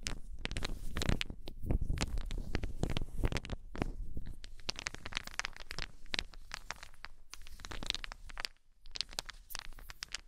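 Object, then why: Small solid wooden balls. Small solid wooden balls are gripped and rolled in cupped hands, clacking against each other. A steady, irregular run of short, dry clicks and knocks sits over a dense low rumble. A brief quieter pause comes near the end before the clacking resumes.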